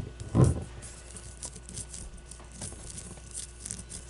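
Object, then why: Leather-covered baseball. Long nails scratch and tap a solid leather baseball with red stitching resting on a table. One dull, low thump stands out near the start, followed by quiet, soft scratching and light taps with faint bright rasping over a low hum.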